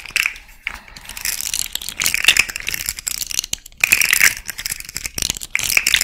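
A small rainbow-colored plastic fidget slug toy with jointed, hollow segments is held hanging near the ear while long nails scratch and tap along it. The result is bright, dry, crinkly clicking and rattling in irregular bursts, with almost nothing in the low end.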